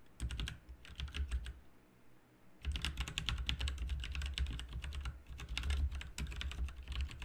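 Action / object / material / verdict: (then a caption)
tap / mechanical keyboard with plastic keycaps / plastic / none. Fingertips of both hands type continuously on a backlit RGB mechanical keyboard with plastic keycaps, producing rapid, bright key clicks over a low thump. A brief pause about two seconds in is followed by a steady run of fast typing to the end.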